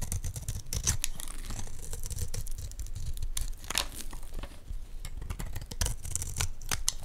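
A metal blade scrapes across the flat face of a solid green Dalan olive oil bar soap held in the hands. It makes a steady run of dry, crackly scraping strokes with bright, high rasping edges over a soft low rumble.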